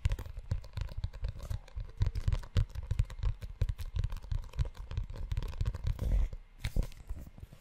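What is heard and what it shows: Fingertips and short nails scratch, rub and tap the cover and ridged spine of a closed brown leather-bound notebook. The result is a dense, irregular run of soft, low, dull taps mixed with crinkly scratching and rustling, with a few louder knocks toward the end.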